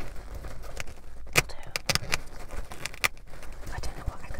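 A hollow, empty black fabric pop-up car bin with a wire frame is held close and tapped and scratched with long nails. Soft scratching runs throughout, broken by several sharp, bright taps.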